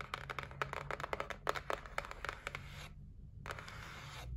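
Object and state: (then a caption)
Cardboard box tapped and scratched with nails. Long nails tap and scratch across the top and edges of a white cardboard gift box resting on a table, making a quick run of dry, papery clicks and rasping scrapes. There is a brief pause near the end before the scratching resumes, with a faint low hum underneath throughout.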